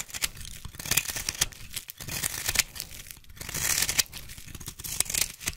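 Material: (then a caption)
Soap. A solid green bar of soap, held in a hand with long pink nails, is carved with a small blade that shaves off thin curls. The sound is a dry, bright scraping and crinkly tearing, with uneven bursts of cuts over a few seconds and a faint low thump beneath.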